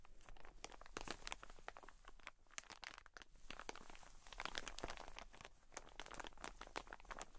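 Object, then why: Cotton wool pack in plastic wrap. Long nails rapidly scratch and tap the plastic wrap of a soft, plastic-wrapped cotton wool pack. The result is a dense stream of bright, crinkly, crackling onsets with short, dry clicks over a low rumble that never lets up.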